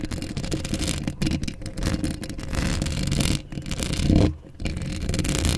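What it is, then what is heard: Metal mesh microphone grille scratched by nails. Long acrylic nails scratch a hollow steel mesh microphone grille up close, making a dense, continuous rasping and scraping with a heavy low rumble beneath the bright scratch. The scratching pauses briefly a few times, most clearly around 4.5 seconds, before resuming.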